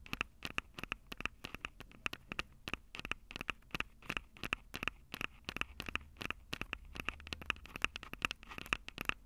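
Long acrylic nails rapidly tap the metal-grille mic capsules of a black plastic Tascam DR-05 handheld recorder. Dozens of sharp, dry clicks come in quick, uneven bursts, each bright and scratchy with a ringing tone near 2.6 kHz that dies almost instantly. A faint low hum sits steadily underneath.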